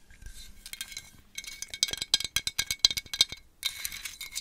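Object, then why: Small glazed ceramic pumpkin tapped with fingernails. Long acrylic nails tap on a small, hollow, glazed orange ceramic jack-o'-lantern with a cut-out face, held in front of the mic. The result is a run of sharp, bright clicks and clinks with almost no ring or low end, bracketed by softer, dense scratchy tapping at the start and end.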